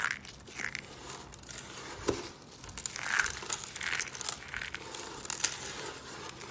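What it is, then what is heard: Dry soap curls being crushed. Fingers press and rub crushed pieces of colored dry soap curls on a wooden table. A steady, dry crunching and crinkling crackle runs throughout, bright and papery, with small sharper snaps rising out of the texture.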